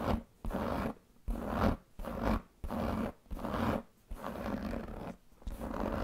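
Long painted fingernails scratch the surface of a large black pebbled leather handbag with a metal buckle. The result is a series of dry, rasping scratching strokes, separated by brief silent pauses. Each stroke has a soft, muffled texture concentrated in the low and middle range.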